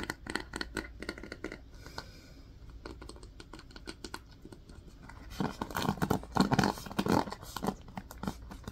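Fingers work a yellow wooden paddle hairbrush with plastic bristles, scratching the bristles and tapping its wooden back. Quick, sharp ticking taps open the clip, then a softer stretch of dry scratching follows. Louder, denser bursts of raspy scratches and taps come near the end.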